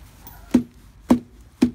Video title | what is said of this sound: Tree rot diagnosis in a Eucalyptus tree | with that rot and that hollow sound